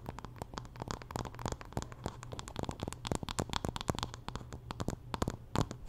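Fingernails scratch across the wood of a wooden paddle hairbrush and over its dark bristle pins, making a rapid, dense run of short dry scratches and clicks with a bright, crackly edge. A steady low hum sits underneath throughout.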